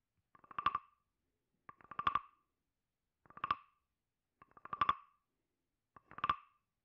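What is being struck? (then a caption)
Hollow carved wooden frog with ridged back, scraped with a wooden stick. A wooden stick is scraped and tapped along the ridged back of a hand-sized, hollow carved wooden frog guiro held in the left hand. Five separate bursts of quick, dry wooden clicks sound, each speeding up and swelling into a croaking rasp with a hollow, mid-pitched ring. The bursts are spaced by short silences.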